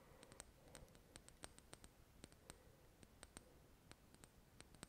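Long red nails tap a small glass serum bottle with a dropper cap, full of golden liquid. A quiet, irregular string of short, sharp clicks follows, each with a brief bright glassy ping over a soft low background hiss.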